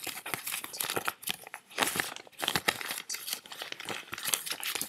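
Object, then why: Stack of paper banknotes. A handful of paper US dollar bills is crinkled, squeezed and fanned by both hands, using fingertips and long nails. The result is a dense stream of bright, dry crinkling and rustling with quick bursts and almost no low end, each sound dying away almost at once.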